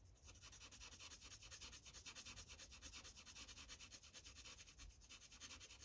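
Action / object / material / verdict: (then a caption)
scrape / paper sheet on clipboard, marker tip / paper / none. A blue Sharpie marker tip scratches and rubs across a thin paper coloring page on a clipboard as it colors small areas. Quiet, rapid back-and-forth strokes, about three per second, produce a bright, dry scratching hiss over a faint low rumble, continuing steadily throughout.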